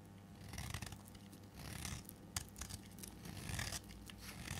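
A solid, cream-colored piece of dry bar soap is held in the fingers and shaved with a metal blade, breaking off into crumbly flakes. Repeated dry scraping and cutting strokes give bright, crisp rasps over a low, steady hum, with a sharp crack near the middle.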